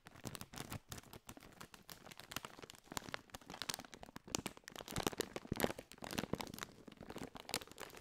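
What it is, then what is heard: Metallized plastic chip bag. A partly filled Doritos chip bag made of foil-lined metallized plastic is crinkled and squeezed with fingers close to the mic. A steady run of sharp, dense crackles and crinkles with bright high-end snaps fills the clip, with louder bursts toward the middle.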